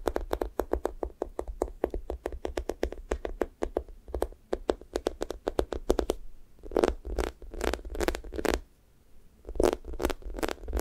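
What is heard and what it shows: Fingertips poke and peel off the pink sticky top of a thick strawberry toast squishy toy made of soft, solid foam. A rapid run of short, tacky clicks and crackles fills the first six seconds, then gives way to slower, louder, bright sticky peeling bursts separated by brief pauses.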